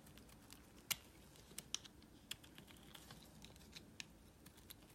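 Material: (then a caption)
Soap. A solid green bar of soap, held in the hand, is carved with a small metal blade, giving a run of short, crisp scraping clicks and snaps that are mostly bright and high. The cuts come irregularly over a quiet background, with one louder snap near the start and several smaller ones after, each dying away almost at once.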